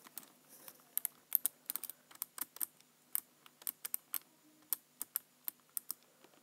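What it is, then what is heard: Plastic computer keyboard. Fingertips type on the right-side keys of a black plastic computer keyboard. About 28 quiet, sharp, bright clicks come in an uneven rhythm over six and a half seconds, each dying away almost instantly, with near silence between them.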